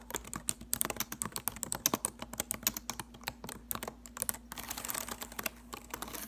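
Long acrylic nails type and tap on the plastic keys of a silver laptop keyboard, giving a fast run of sharp, bright clicks. The clicks come in quick irregular bursts over a faint low hum, and near the end they blur into a denser, softer patter.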